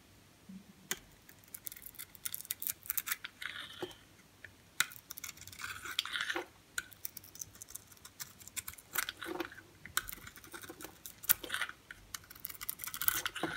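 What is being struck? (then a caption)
Bar soap. A utility knife blade scrapes across a solid magenta bar of soap with a white core, held in the hand, shaving its surface off in curls. Quiet, bright, crisp scraping strokes and crackly shaving bursts come in irregular runs, with soft pauses between them.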